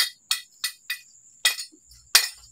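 Pieces of lead scrap metal are knocked together six times, each strike a short, dull knock that dies away almost at once instead of ringing, showing the solid, soft character that marks the metal as lead. The hits are bright-edged clicks with a faint steady high tone running underneath.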